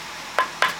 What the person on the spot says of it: ഭയങ്കര കാലിന് പ്രൊട്ടക്ഷൻ ആണെന്ന് നമുക്ക് എന്തായാലും ഉറപ്പാക്കാംട്ടോ